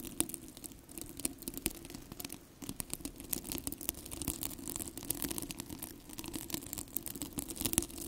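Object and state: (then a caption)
Plastic velcro hair rollers being scratched. Fingertips and nails scratch and rub the bristly plastic hook-and-loop surface of two identical yellow, hollow, cylindrical plastic velcro hair rollers held close to the microphone. The result is a steady, dense crackle of quick, bright scratchy ticks over a low hum.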